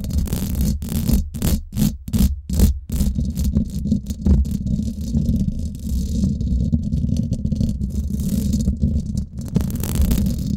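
Long black and glitter acrylic nails scratch fast on both sides of the round woven steel mesh grille of a Blue Yeti microphone's hollow head. The result is a dense, boomy low rasp with a quick rattling texture, broken in the first few seconds by rapid bright bursts of scratchy hiss. It then settles into steady, muffled low scraping that brightens again near the end.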